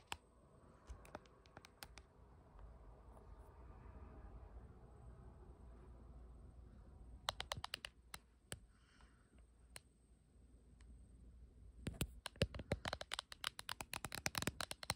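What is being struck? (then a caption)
Hard plastic phone case. Long nails tap and scratch the back of a clear or printed hard plastic case with a dragon design on a blue iPhone, held in the hand and recording itself. Sharp, bright clicks come in short bursts near the start and around the middle, separated by softer scratching over a low rumble. Near the end they turn into a rapid run of dense tapping.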